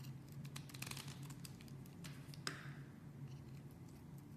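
A metal blade carves a pink solid bar of soap held in the hand, slicing and shaving pieces off it. Soft, crisp scraping and shaving strokes run over a low, steady hum, with one sharper cut standing out about halfway through.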